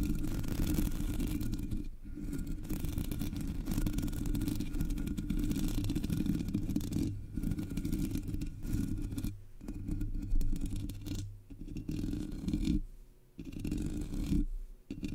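Long nails scratch the sides of the black, hollow metal mesh grille on a Blue Yeti microphone. The result is a dense, steady, low rumbling scrape with a faint rasp on top. Brief dips near 2, 9.5, 11, 13 and 15 seconds break the scratching.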